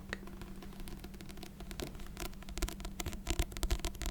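A paper book of Beethoven piano sonatas is tapped with quick, irregular light taps, producing soft, dry pats over a steady low hum and faint noise. The taps grow slightly louder and brighter in the second half of the clip as the book tapping continues for ASMR.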